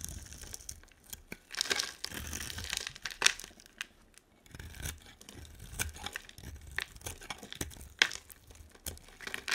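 A hand-sized solid green bar of soap with a dark coating is scraped and carved into thin strips with a utility knife blade. Bright, dry scraping and crinkly tearing sounds come in bursts, with a few sharp high clicks as the blade catches and slices through.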